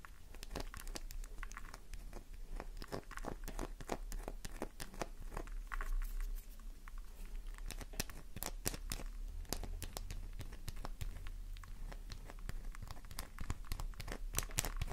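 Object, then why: Bar of soap. Long nails scratch fast across a small, solid, flower-shaped pink soap bar held in the hand, flaking soap off the surface. The result is a rapid, continuous run of crisp, dry, crinkly scratches, with sharp bright clicks over a steady low hum.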